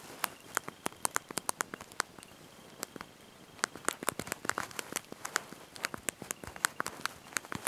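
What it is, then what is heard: Plastic phone keyboard keys being typed. Thumbs and fingertips press and tap the small backlit plastic keys of a handheld slide-out mobile phone's QWERTY keyboard while typing a message. The result is a quick, irregular stream of sharp, dry, bright clicks with almost no ring, broken by a brief lull before the tapping picks up again.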